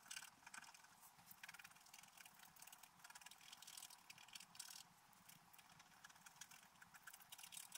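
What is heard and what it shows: A wooden stylus scratches details into a flat, black-coated scratch art paper page. The result is a steady run of dry, bright, gritty scratching strokes that rise and fall in quick bursts, with almost no low end.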